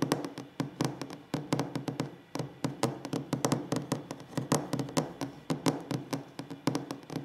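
Fingers tap quickly and unevenly on a wooden table in a close, quiet ASMR session. Each tap is a short, dry knock with a low woody body around 277 Hz and a brief bright click, dying away almost at once. The taps come in uneven bursts and flurries, with faint rubbing between some of them.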